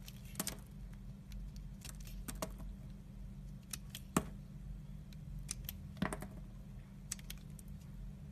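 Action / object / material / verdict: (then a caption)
scrape / bar of soap scraped with a blade / soap / none. A red utility knife blade scrapes translucent curls off the surface of a solid oval teal Vanda soap bar, the green bar held in a palm. Short, crisp, bright scraping ticks come at irregular intervals over a steady low hum, each one dying away almost instantly.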